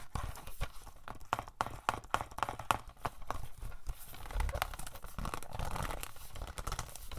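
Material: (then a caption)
Plastic. Fingernails tap and scratch a hollow plastic DVD case for *No Country for Old Men*, first on the front and then on the back. Quick, dry, clicky taps with almost no ring come first, then give way to a denser, continuous scratching rasp over the plastic.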